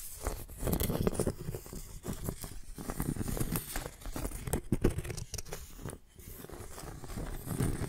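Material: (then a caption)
Bark. Fingernails scratch along the edge and surface of a flat piece of tree bark held sideways between two microphones. The result is a dry, crackly, rustling scrape in uneven bursts, mostly low and rough with brief brighter ticks.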